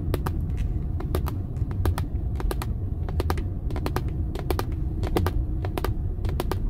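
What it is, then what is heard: Plastic steering wheel airbag cover. Long acrylic nails and fingertips tap quickly and irregularly on the hard, hollow-sounding, dark moulded plastic airbag cover at the centre of a car steering wheel, which has a metal badge. The taps are short, bright clicks over a steady low road rumble inside the car.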